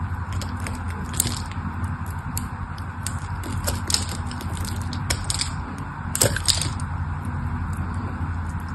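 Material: Soap.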